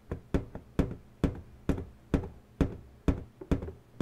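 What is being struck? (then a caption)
Inflated latex balloon. Long pointed natural nails tap and knock on the taut surface of an inflated, hollow pink latex balloon resting on a table. The result is a steady series of dull, low, hollow thumps with very short decay, each louder knock often followed by a softer tap.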